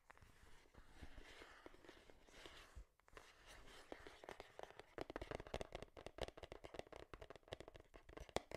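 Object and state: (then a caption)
Cardboard product box. Long nails tap and scratch a small, hollow, printed cardboard Game Boy box held in both hands. A soft, scratchy rustle fills the first few seconds. After a brief lull, quick dry hollow taps start and grow denser and faster, with a mid-toned knock and short crisp clicks that stop instantly.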